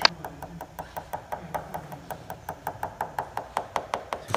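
A single knuckle taps steadily across the white gel-coated fibreglass (GRP) skin of a glider wing, a large shell structure likely hollow with a foam or sandwich core beneath, in a tap test for delamination. The taps come as a quick, even series of short, dry knocks with a hollow mid-pitched tone around 1.6 kHz and a bright click, each dying away almost instantly over a faint background hiss.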